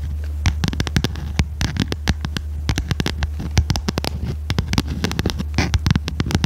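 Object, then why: Cardboard notebook cover with metal spiral binding. A small red notebook with a cardboard cover and metal spiral binding is held upright while long red nails tap and scratch its cover. Rapid, sharp, dry clicks and short scratches with bright edges fall in quick, uneven succession over a steady low hum. Each tap dies away almost instantly.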